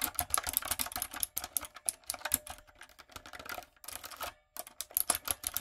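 Long coffin nails and fingertips type on a backlit, typewriter-style mechanical keyboard with round retro plastic keycaps and a hollow plastic body. Quick, bright, clicky keystrokes fall in irregular bursts with sharp, short-lived clacks and little low end. There are brief pauses between runs and a short silence near the end before typing resumes.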